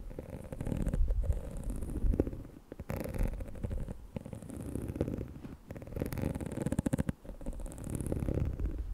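Long nails scratch and flick the dense black bristles and plastic shell of a small pink plastic detangling hair brush held in the hands. The result is a close, low, rumbling scratch texture with bursts of rapid, crisp ticking flicks and faint bright hiss.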